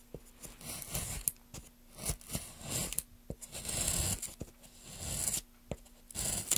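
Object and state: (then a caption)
Wooden plank being carved. Gloved hands carve a solid, light wooden plank with a metal gouge, scraping off shavings. Irregular, bright scraping strokes come one after another over a faint steady low hum, some ending in sharp clicks as the blade catches and releases.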